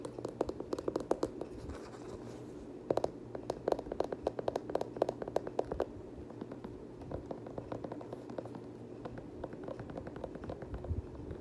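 Fingers scratch the knit upper and the rubber sole edge of an empty multicolor knit Nike Kobe 9 high-top sneaker. Quick, dry scratching clicks come in dense bursts, loudest in the first six seconds, with a brief lull near two seconds. The scratching then continues more softly and sparsely over a faint steady low hum.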